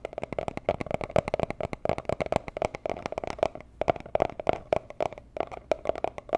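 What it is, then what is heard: Small cardboard box tapped with nails. A small, hollow, rigid teal cardboard gift box for jewelry is tapped and scratched with long nails. The result is a rapid, uneven run of short, dry taps with a hollow tone around 680 Hz. Light scratchy crackle sits between the taps, and each tap dies away almost at once.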